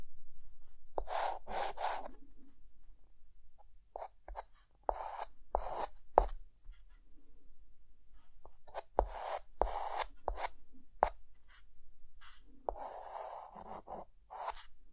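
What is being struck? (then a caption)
Chalk stick on a slate chalkboard. A white chalk stick held in the fingers draws facial features on a dark chalkboard with short scratching strokes. Irregular bursts of dry, raspy scraping center on a midrange tone with bright hiss on top, and a few sharper taps stand out. Quiet pauses separate the strokes.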